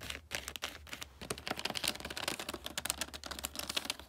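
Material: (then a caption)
Paper. Long nails scratch and crinkle the wrinkled, shiny red wrapping paper on a large flat gift. The result is a rapid string of crisp, bright crackles and scrapes, with a faint low hum steady underneath.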